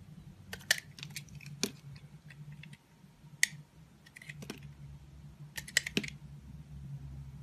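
Thin layers are shaved off a solid green oval soap bar held in the hand, using a utility knife blade. Short, crisp, bright scraping strokes come in scattered bursts over a faint low hum, each stopping almost at once.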